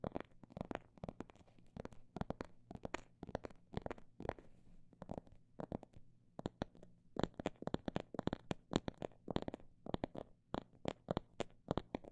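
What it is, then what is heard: Imitation snake skin phone bag tapped. A phone bag made of imitation snake skin is tapped with quick, dry, short taps at an uneven pace, some in fast bursts and some spaced apart. Each tap dies away almost instantly, with a faint low hum running steadily underneath.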